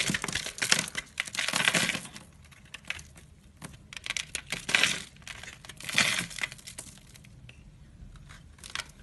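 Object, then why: Soap bar. A blade scrapes and shaves the surface of a solid, palm-sized orange soap bar held in one hand, leaving crumbly flakes. Bright, crisp crackling and scraping comes in several bursts of short strokes, with quieter gaps between passes.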